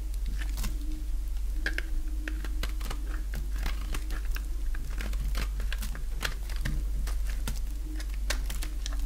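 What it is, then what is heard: Bar soap being shaved. A thinning bar of dry pink soap held in the hand is shaved with a box-cutter blade. Quick, irregular dry scraping and cutting sounds repeat throughout, crisp and bright over a steady low hum.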